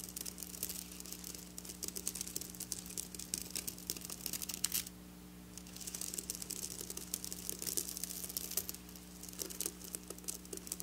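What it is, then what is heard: Sequin fabric scratched with fingernails. Long black nails scratch and brush across the rows of a flat silver sequin fabric, making dense, bright, crackly clicking and rustling. A steady low hum runs underneath. The scratching pauses briefly around the five-second mark, then resumes with the same crisp, high-pitched texture.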